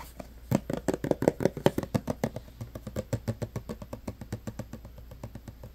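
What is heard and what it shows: Short nails tap and scratch a clear plastic hand sanitizer bottle full of green gel, held close, moving over the plastic and its label. A fast, irregular run of dull, dry taps with no ring is heard, loudest early on and growing softer toward the end.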